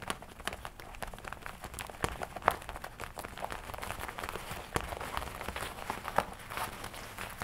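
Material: Leather.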